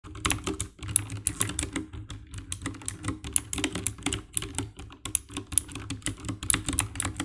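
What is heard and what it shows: Fingertips with long nails type fast on the keycaps of a compact 60% black plastic mechanical keyboard with RGB backlight, resting on a dark desk. A rapid, uneven stream of sharp, clicky key presses is heard, with bright, high tapping over a low thock that dies away almost instantly.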